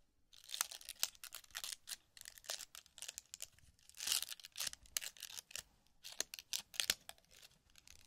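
A small paper cocktail umbrella on a thin wooden stick is held in both hands by the fingertips while its folded paper canopy is opened and crinkled over a zen sand tray. The result is a quiet, continuous stream of crisp, bright crinkling and rustling bursts with almost no low end, each snap stopping short with no ring.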